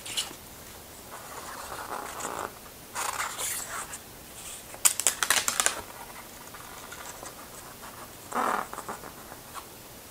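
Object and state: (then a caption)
Paper booklet pages. Hands in black rubber industrial gloves page through a small printed paper booklet inside an open Blu-ray case. Gloved fingertips rub and flip the paper pages, giving soft, bright scratching and rustling with a few sharp crinkly bursts in the middle and near the end.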